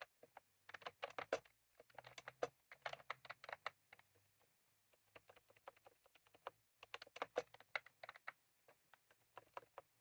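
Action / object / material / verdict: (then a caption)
tap / plastic computer keyboard with round keycaps / plastic / none. Fingertips of both hands type continuously on a full-size plastic computer keyboard with round, cream, typewriter-style keycaps sitting on a desk. The result is quiet bursts of quick, dry clicks with a bright, short attack, and a brief lull in the middle of the run.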